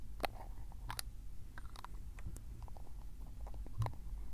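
Fingertips twist the black plastic screw cap of a small glass ink bottle, partly filled with dark blue Iroshizuku tsuki-yo ink, open and closed right next to the recorder. Quiet scraping of the threads is heard with short, sharp clicks and bright ticks over a low, steady rumble.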